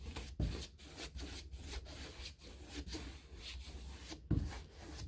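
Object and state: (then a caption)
Painted molded hardboard door. A wide bristle paintbrush rubs in repeated scratchy strokes across the flat middle rail of a white, painted six-panel interior door with a knob hole, a molded hardboard door that is likely a hollow-core composite. The dry, rasping bristle sound sits over a low, dull body, with two heavier thuds near the start and end.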